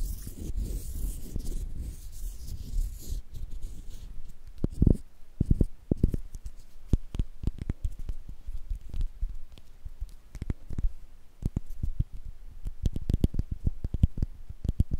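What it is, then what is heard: Bar of soap. Fingertips and nails rub and scratch the surface of a small, solid, cream-coloured bar of soap with an embossed logo, held in both hands over cloth. The sound is a soft, low, dry scratching and tapping with many short, close-set strokes and a brief rougher, brighter rustle at the start.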